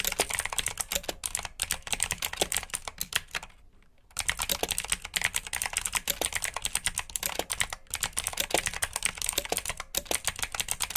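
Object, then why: Plastic mechanical keyboard. Fingertips with short nails type steadily on a full-size black plastic mechanical keyboard with RGB backlit keycaps, clicky blue switches and hollow key housings. The keystrokes give a rapid run of sharp, bright, dry clicks with a light plastic clatter and almost no ring. There is a brief quiet pause partway through before the typing resumes.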